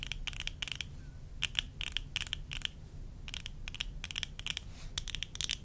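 Long nails tap on the rims and temples of worn tortoiseshell plastic eyeglass frames with lenses. The result is a steady run of quick, dry, bright clicks that die away almost at once, over a low rumbling background.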